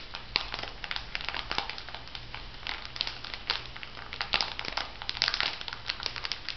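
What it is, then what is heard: Plastic foil sachet crinkling. A small, filled plastic-foil sheet mask sachet with a pig design is crinkled and squeezed by long-nailed fingertips. A dense stream of bright, crackling crinkles with sharp, quick snaps runs throughout over a faint low hum.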